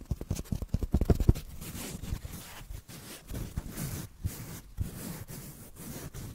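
A small black foam block, held in one hand, is slowly scratched with the fingernails of the other. A quick run of sharp, low-heavy scratches opens the clip, then gives way to softer, continuous rasping strokes with brief pauses between them.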